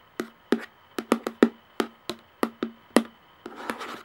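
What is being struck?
Plastic jar lid.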